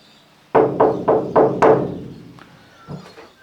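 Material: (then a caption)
Sheet metal. Knocks on the bare sheet-metal wall panel of a Renault Master van, with no vibration dampening mats fitted, give five hollow, resonant thuds. The thuds ring around a mid pitch and trail off in a lingering metallic decay. The undampened panel sounds boomy and resonant.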